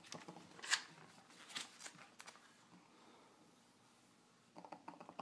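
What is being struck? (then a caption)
Glossy paper magazine pages. Fingertips and nails tap and scratch the glossy printed pages of an open magazine while its pages are turned. Quiet, bright, crisp taps and papery scratches come in short bursts, with a near-silent stretch in the middle before a cluster of quick taps at the end.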